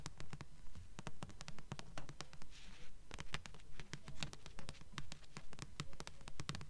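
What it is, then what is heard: Paperback book. Long nails tap and scratch the glossy front cover of a thick blue paperback book of solid paper, held upright in both hands. Quick, crisp taps land in a steady rhythm, with a brief stretch of soft scratching in the middle. Each tap is short and dry, with a dull low thump beneath a bright click.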